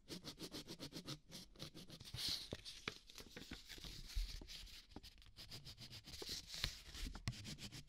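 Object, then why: Ballpoint pen on a paper notepad sheet. A ballpoint pen is dragged across a small, thin white sheet on a spiral notepad lying flat on a dark cloth table, writing and colouring. Quiet, bright pen-on-paper scratching comes in quick rhythmic strokes at first, then turns into longer, uneven scrapes with a few sharper taps.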